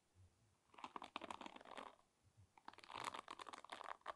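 Fingertips and nails strum and scratch across the wooden pins of a wooden paddle hairbrush about 20 cm long. Two bursts of rapid, dry clicking and scratching, centered in the mid-range with bright edges, are separated by a short pause, with faint low thumps before each burst.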